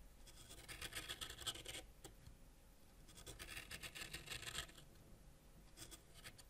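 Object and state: Wax crayon scraped to dust.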